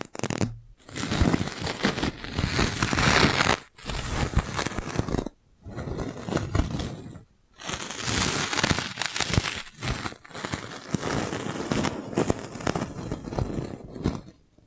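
A clear, thin, hollow plastic magic balloon bubble about the size of a fist is held between both hands in front of a microphone and squeezed and rubbed with the palms and fingers. It makes dense crinkling, crackling and scraping rustles in several long bursts separated by short silent pauses.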